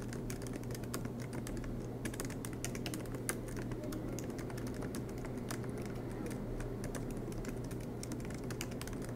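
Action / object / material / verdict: tap / laptop keyboard with plastic keycaps / plastic / none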